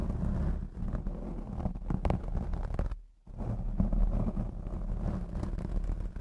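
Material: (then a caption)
Foam. Long blue acrylic nails on both hands scratch across the black foam windscreen of a Blue Yeti X microphone, making a dense, muffled, rumbling scrape heavy in the lows. The scratching runs continuously, drops to near silence for a moment around the middle, then resumes just as thick to the end.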